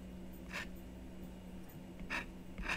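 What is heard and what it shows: A thin wooden stylus scratches short strokes into a flat, black-coated scratch-art card about book size, held flat with one hand on a wooden table. A few brief, bright, raspy scrapes stand out over a quiet, steady low hum.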